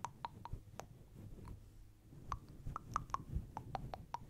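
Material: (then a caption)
Synthetic fur. Long blue acrylic nails scratch and rake with both hands through a fist-sized, fluffy grey-white synthetic fur windscreen that sits soft over a hollow microphone body. A series of short, sharp clicks, each with a tonal snap around 1.2 kHz and a bright tick on top, plays over a soft, dull, low rumbling rustle. Each click dies away almost instantly.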